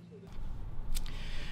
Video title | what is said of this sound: Arizona AFO Casting Video | tap on here once you can kind of hear that it's setting up like that